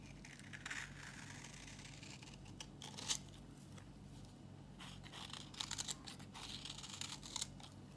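A thin, solid, dry yellow bar of soap held in the palm is shaved with a metal utility blade. Quiet, bright scraping and crisp crackling strokes come in short bursts over a steady low hum. The blade slices off the soap with dry, brittle rasps.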